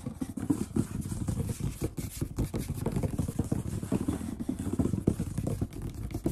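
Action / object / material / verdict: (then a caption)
tap / wooden tabletop / wood / none. Short-nailed fingertips of both hands drum and tap rapidly on the solid surface of a large brown wood-grain table. The result is a dense, continuous flurry of quick, dull knocks with a low, thumping body around 200 Hz and almost no ring after each tap.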